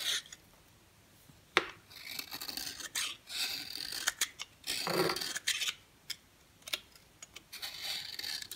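A yellow oval bar of dry solid soap is held in the hand and scraped with a box cutter blade, shaving it into fine yellow powder. Short bursts of dry, bright scraping rasp come in uneven strokes, separated by quiet pauses and a few sharp ticks of the blade.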